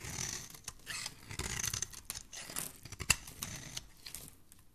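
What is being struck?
Soap bar scraped with a metal blade.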